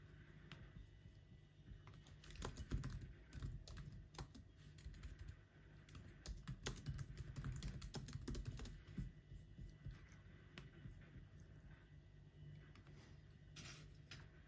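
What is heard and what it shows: Fingertips type on the black plastic keys of an aluminum laptop, producing quiet, irregular bursts of short, dry clicks and taps. The clicks cluster in busier runs with brief pauses between, over a steady low hum.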